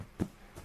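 A hand taps a storage box full of stuff that has been packed away for half a year, including comics. A single dull, low thump sounds with almost no ring, followed by a much fainter soft knock.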